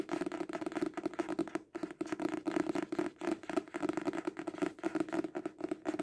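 A solid hardcover book with a dark cover, held upright, is tapped fast on its cover with fingertips and short nails. The result is a steady stream of rapid, dry, clicky taps with a hollow mid tone around 340 Hz, little low end and almost no ring after each tap.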